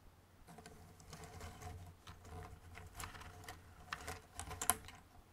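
Fingertips rummage and stir many small, thin, solid cardboard jigsaw puzzle pieces inside a white cardboard box on a red table. The pieces rub and click together in quiet, dry, rapid bursts of short rustling ticks over a faint low hum. The clicking grows denser and sharper toward the end.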